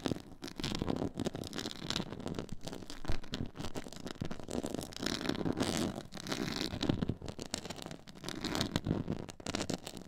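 Long nail tips scratch across a black, stitched, diamond-textured faux leather board. The result is a steady, dense run of dry scraping and crackling with a low, soft body and brief bright ticks. It swells and dips slightly in waves without stopping.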